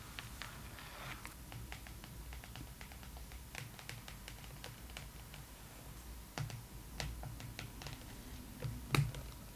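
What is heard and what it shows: Long nails and fingertips tap the cover of a thick, glossy paper magazine held upright, making a quiet, irregular series of short, bright clicks over a low, steady hum. A few firmer taps stand out toward the end, the loudest near the close.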